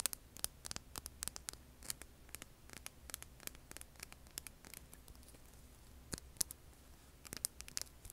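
A hand-sized, solid, rough stone rock is held and then set on a table while long nails scratch and tap it. Many short, dry, bright clicks and scrapes sound over a low hum, with no ring after each tap.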